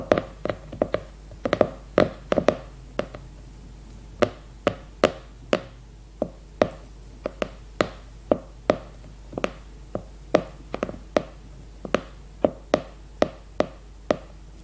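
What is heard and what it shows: Long red nails tap the glossy cardboard cover of a leopard-print hardcover notebook held upright. The result is a steady series of short, dry clicks with a hollow knock around 600 Hz, bunched quickly at first and then spaced evenly. Each tap dies away almost at once over a faint background hum.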